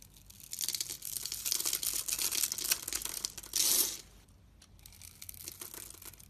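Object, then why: Bar of soap carved with a knife blade. A utility knife blade carves and scrapes the scored grid surface of a solid red bar soap held in the palm, knocking small red soap cubes loose. The result is a run of bright, dry, crisp scraping and crumbling strokes with a louder burst of carving near the middle and softer scraping afterward.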